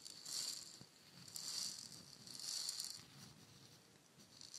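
A palm-sized hollow painted wooden shaker egg is tapped with long nails and shaken. Soft, bright, hissing rattles swell and fade in a loose rhythm, with a few fainter taps as it quiets toward the end.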